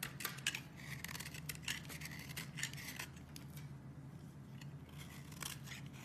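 A metal blade scrapes and carves into a solid, partly carved oval green soap bar held in the hand, and green flakes pile up below. Quick, crisp scraping strokes with a bright, papery bite come one after another over a steady low hum. Each stroke stops short, with no ring after it.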